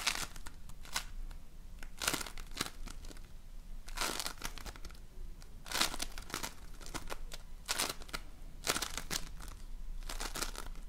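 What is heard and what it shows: A donut-shaped ring of floam, slime filled with polystyrene foam beads, is squeezed and pressed with fingertips and nails. It gives repeated bursts of bright, crisp crackling and crinkling, like tiny popping beads, over a low, steady rumble.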